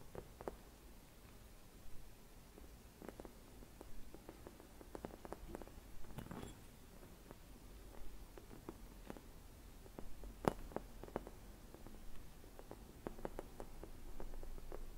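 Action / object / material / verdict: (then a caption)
tap / hollow glass bauble / glass / none. Long red nails tap and scratch a clear, hollow glass Christmas bauble with a white swirl decoration and a dried leaf inside, resting on a cushion. The result is a quiet, irregular string of short, dull taps with almost no ring, set over soft scratching. The taps carry a faint tone around 380 Hz.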